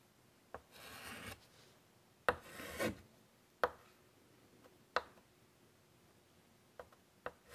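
A white chalk stick is drawn across a large flat chalkboard in a light wood frame in repeated scratchy strokes. Two bright, rasping scrapes are heard, along with six short, sharp clicks spread across the quiet clip.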